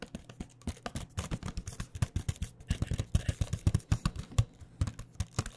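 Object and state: Cardboard box of pens tapped with fingernails.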